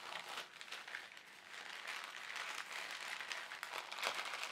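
An empty white printed polyethylene shopping bag, folded into a small strip, is squeezed, folded and crinkled by both hands with fingertips and short nails. It makes a steady, quiet run of dry crinkling and crackling that is bright and hissy, with almost no low end and a few sharper crackles near the end.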